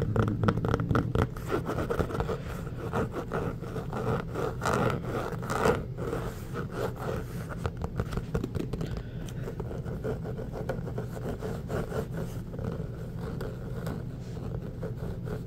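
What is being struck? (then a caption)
Inflated rubber basketball. Short nails and fingertips scratch across the surface of an inflated, hollow orange basketball made of pebbled rubber. The result is a steady stream of quick, dry scraping and scratching strokes with a heavy low-end body and little high content. It is slightly louder and busier during the first six seconds, then settles into an even, continuous texture.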